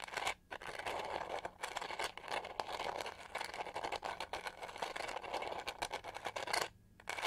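Long nails scratch the pyramid-textured back of a pink-gold plastic detangling hair brush held in both hands. The result is a dense, bright, raspy scratching with quick rhythmic strokes and brief pauses near the start, middle and end.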